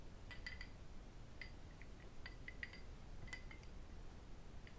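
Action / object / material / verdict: tap / cut crystal glass tumbler / crystal glass / none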